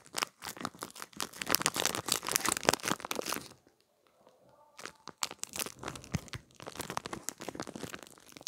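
A small clear plastic package holding a gel-bead pad is crinkled and squeezed with fingertips and nails, producing dense, bright crackling and crinkling. The handling falls nearly silent for about a second in the middle, then the crisp crinkling resumes until the end.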